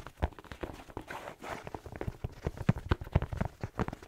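Fingertips tap and scratch the rubber sole and fleece-lined fabric of a black slipper held close to the microphone. A quick, irregular run of dull, low thumps comes with brief stretches of soft, breathy scratching in between.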